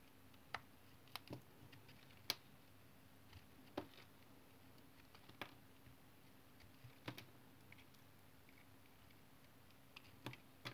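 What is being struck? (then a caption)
Bar of tar soap. A utility knife blade shaves thin curls off the edge of a solid brown, rectangular, hand-sized tar soap bar held in one hand. Twelve short, sharp, bright scraping clicks are spaced irregularly over a faint steady low hum, each cut dying away almost instantly.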